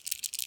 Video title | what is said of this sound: MirrOlure Mirrodine Disappointment | give it a shake and see what happens all right it rattles